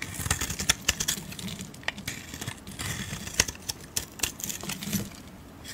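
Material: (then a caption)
Soap. A metal blade scrapes along a solid Camay soap bar with its coating removed to show the peach soap underneath, shaving off curls. The sound is a dry, bright scratching with many sharp, quick ticks and crackles over a faint low rumble.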